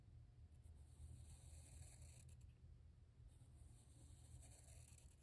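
A hand draws curved strokes near the bottom of a white paper page in a spiral-bound sketchbook with a black felt-tip marker, the tip rubbing across the paper. Soft, bright scratchy strokes come in two stretches over a steady low hum that dominates the quiet recording.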